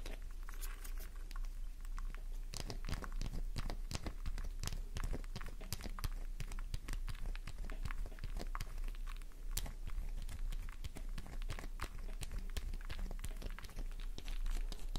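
A solid pink soap bar with a scraped surface, held in both hands, is scratched with long nails. The result is a dense, continuous stream of quick crunchy, crinkling scratches and taps over a steady low hum.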